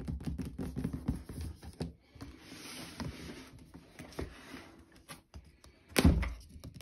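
A closed, hollow white cardboard shoe box is tapped with fingertips, first on the lid and then on the labelled end panel. The taps come out as soft, low, hollow thunks with a short ring, over a quiet hiss, and one louder thump lands near the end.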